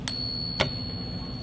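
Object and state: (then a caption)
Genuine silver dollar coin. A genuine Morgan silver dollar balanced on a fingertip is tapped twice with another object in a silver ring test. Each tap gives a bright click, followed by a steady high ring that sustains through the clip. The deep, sustaining ring is the correct sound for real silver.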